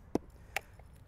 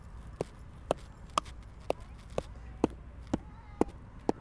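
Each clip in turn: First: Two short, dull mallet thuds on a tree buttress with no ring, marking wood that is dead and rotting. Second: Nine short, dull mallet blows on a tree root, each a brief mid-pitched thud with no hollow boom.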